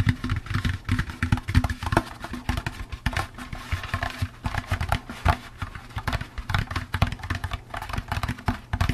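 Fingertips tap quickly and continuously on the sides of a hollow, empty orange plastic jack-o'-lantern candy bucket. The taps sound like dull, hollow, low thumps that stop almost instantly, with little brightness and an uneven, busy rhythm throughout.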